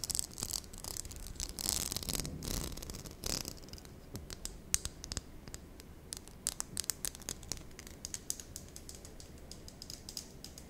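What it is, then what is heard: Plastic cosmetic case, tapped and scratched. A small hollow pink glossy plastic lip balm case shaped like a cupcake, with a ribbed base and a swirled lid, is held in both hands while long nude-polished nails tap and scratch it. Bright, dry clicks and scratchy rasps come in quick irregular bursts, sounding like clicking or typing. The sound is louder scraping in the first few seconds and lighter scattered taps after.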